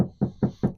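Four evenly spaced knocks, low and rounded with a centre near 190 Hz, each fading within a fraction of a second and no ringing. The car's interior panel gives a full, solid thud rather than a thin, hollow rattle, suggesting firm, well-backed construction.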